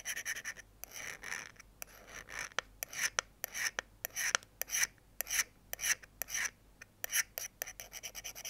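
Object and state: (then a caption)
Steel knife blade being scraped. A thin metal pick, held in one hand, repeatedly scratches along the edge and serrations of a small folding pocket knife's open, solid steel blade held over a wooden board. Dozens of short, bright rasping strokes come in an uneven rhythm, each with a thin metallic, whistling tone. The strokes stop dead with no ring between them.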